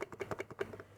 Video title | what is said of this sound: The Sony ZV Trio: Which One Wins for You? | If I shake this one, you can hear the image stabilization, the IBIS, in-body image stabilization.